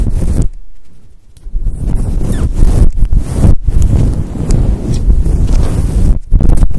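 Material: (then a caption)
Synthetic fur. Long acrylic nails scratch a fluffy synthetic faux-fur microphone windscreen up close. The result is a dense, low rumbling rustle that swells and fades in broad, muffled strokes with short quiet gaps between them.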